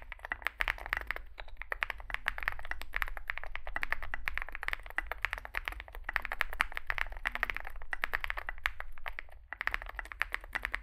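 Fingertips type rapidly on a Zoom65 65% mechanical keyboard resting on a desk mat, its dark case holding white and grey SA-profile plastic keycaps over lubed switches. Dense, crisp, short clacks bunch into quick bursts with a bright mid-high snap, over a steady low hum beneath.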